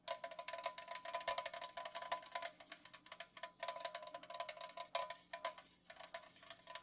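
Long nails fast-tap across an unopened Pepsi aluminum can lying on its side on a pink fuzzy cloth. The result is a quick, uneven patter of bright, metallic clicks, each carrying a short ring centered near 1 kHz. The taps come in dense bursts that swell and thin out, with no low end.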